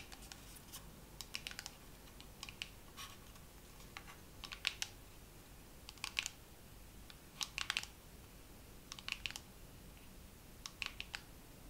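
A second round of slow fingernail tapping on a dermaroller case. Light, bright, clicky taps come in loose, irregular clusters, each dying away almost instantly, over a faint steady low hiss.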